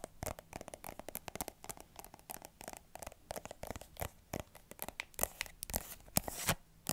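Long manicured nails scratch and tap a small mint-green plastic squeeze tube with a white plastic cap, hollow and likely filled. Dozens of quick, dry clicks and scratchy bursts follow one another with a bright edge and almost no ring, growing louder and denser toward the end.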